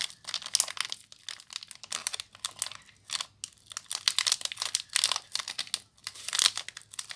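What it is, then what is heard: Plastic-wrapped soap bar. A small soap bar in clear plastic wrap is crinkled and twisted by fingers with long nails. The result is a dense run of short, bright crackling crinkles in uneven bursts, with almost no low end.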